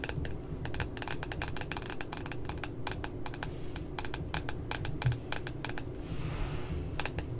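Long nails tap rapidly on the glossy paper cover of a flat spiral notebook, making quick, bright, dry clicks over a steady low hum. The taps pause briefly as the hands leave the frame, then resume.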